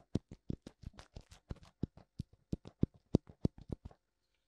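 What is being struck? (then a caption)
Silicone ear of a binaural microphone. Fingertips tap both white silicone ears of a black binaural microphone in a quick, uneven rhythm. Each tap is a soft, dull, low thump with almost no ring, and the tapping stops a little before the clip ends.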